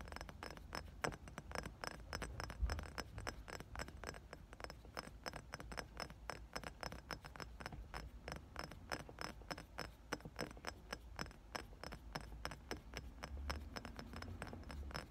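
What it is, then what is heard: Glass perfume bottle. Fingertips and short nails tap rapidly on the body of a round, thick, dark-tinted glass perfume bottle with a pink plastic cap, palm-sized and partly filled with liquid, held in both hands. The result is a steady stream of dozens of quick, short glassy clicks with a low, dull body over a soft background hum.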